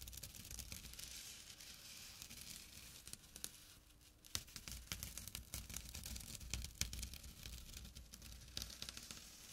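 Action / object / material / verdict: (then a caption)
scrape / burlap drawstring pouch / burlap / none. Fingertips scratch the weave of a small, flat burlap drawstring pouch. The clip is a quiet, continuous run of dry, rough scratching and crinkly rustling with sharp, bright bursts, over a steady low hum underneath.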